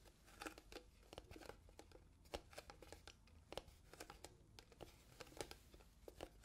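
A small, transparent, hollow plastic box that appears empty is tapped and scratched with long nails between two microphones. It makes an irregular run of sharp, dry clicks with a hollow plastic tone, and soft scratchy rustling fills the gaps. Each tap is bright and dies away almost at once.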